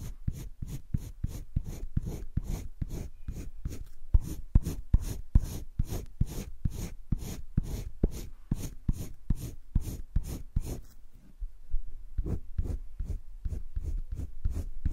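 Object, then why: Colored pencil on thick drawing paper of a spiral sketchbook. A green colored pencil held by the fingertips is rubbed repeatedly over a thick drawing paper page of a spiral sketchbook while coloring. The result is a steady train of soft, low scratchy strokes at a quick rhythm with faint bright edges. The strokes pause briefly near the eleven-second mark before resuming.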